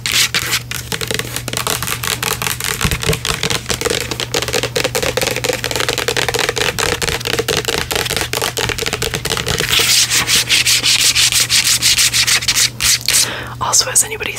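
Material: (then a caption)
Plastic. A medium-size, hollow grey-green plastic pump bottle with a white pump, apparently full, is held in both hands and scratched and tapped with long pink nails. The result is a dense stream of quick, bright clicks and rubbing, sanding-like scratches over a low steady hum. The sound grows sharper near the end as the bottle comes close to the mic.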